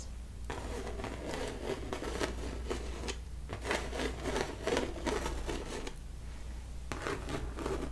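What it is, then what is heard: Painted canvas being scratched. Long nails and fingertips scratch and rub across thick, raised blue textured paint on the bunny figure of a large stretched canvas. Dry, bright, rasping scratches come in quick uneven bursts, with two short pauses. A steady low hum runs underneath throughout.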